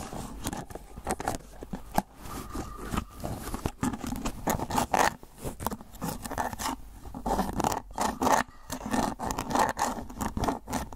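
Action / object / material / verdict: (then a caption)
scrape / clear plastic food container with lid / plastic / none. Fingernails scratch and tap the ridged surface of an empty, hollow, rectangular clear plastic food container with a white lid. The result is a dense, irregular run of dry, rasping scrapes and quick clicky taps, centered in the midrange around 760 Hz with bright edges. Each sound stops instantly with no ring, and the intensity swells and eases across the clip.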